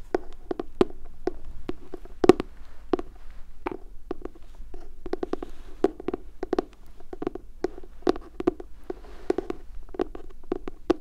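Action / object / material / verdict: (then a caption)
tap / cardboard notebook cover / cardboard / none. Fingertips with medium nails tap and scratch the glossy pastel cardboard cover of a medium-sized spiral-bound notebook printed with unicorns and bound with metal wire, held upright in both hands. Dozens of quick, dry, hollow taps with a low-mid tone come in an irregular rhythm over the whole clip, with soft, faint scratching between them. Each tap dies away almost at once.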